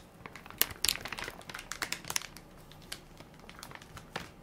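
A full, soft plastic-film baby wipes pack with a plastic lid is held in one hand while fingertips and nails crinkle and tap its film top. The result is a quick run of sharp, bright crinkles and light ticks with very little low end, the loudest pops coming near the start and thinning into sparser taps toward the end.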